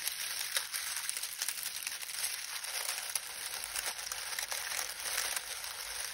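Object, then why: Dried lemon balm leaves. A pile of dried lemon balm leaves on a towel is kneaded and crushed by fingertips, producing a continuous bright, crackling rustle with many tiny snaps and no low-end weight.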